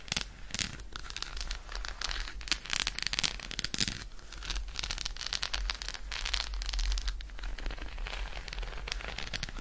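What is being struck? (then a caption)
Chocolate bar. An unwrapped solid Roshen chocolate bar held in the hand is tapped and scratched quickly with long acrylic nails. The result is a dense, continuous stream of short, bright clicks and crinkly scratches with almost no ring, over a steady low hum.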